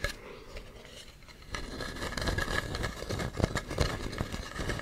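Fingernails scratch along the grooves and rim of a hollow carved wooden mask with a ribbed, textured surface, seen from the side. Soft, faint scratching for the first second and a half gives way to louder, dense, dry rasping with a few sharper clicks near the end, with no ring after each stroke.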